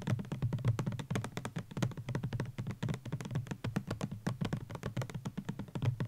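Fingertips and nails tap quickly on a white plastic Garnier Ambre Solaire 200 ml sunscreen bottle with an orange cap, standing on a blanket; the bottle is hollow and likely filled. The result is a rapid, steady stream of soft, dull, low taps with a hollow thump and almost no brightness. Each tap dies away almost instantly.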